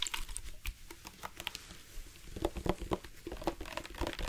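A dark plastic sports water bottle with a loop cap, hollow and partly filled with water, is held out and tapped with the fingertips. Quick, soft, irregular taps make a light patter of dull plastic knocks, with a hollow tone around 370 Hz that dies away almost at once.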